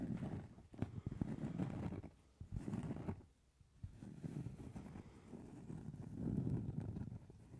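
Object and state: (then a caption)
Cork trivet. A round, flat, solid cork trivet about 20 cm across is tapped and scratched with long red nails and fingertips. The result is a soft, muffled mix of dull taps and rough scratching that is mostly low in tone, with brief quiet pauses between bursts.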